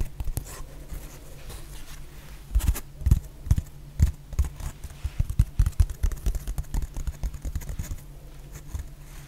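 Long painted nails tap and scratch a solid, hand-sized rectangular black foam/sponge block, producing a quick run of soft, muffled taps mixed with faint scratching. The taps are dull and low with almost no ring, clustering into louder bursts in the middle of the clip before easing off.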